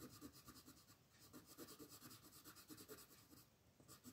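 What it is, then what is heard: Colored pencil shading on a paper page. A light green wooden colored pencil shades a flat paper coloring book page in small rubbing strokes near a drawn dragon, while the other hand rests flat on the page. A steady, quiet, dry scratching is heard, with rapid repeated bright strokes and a soft low papery texture.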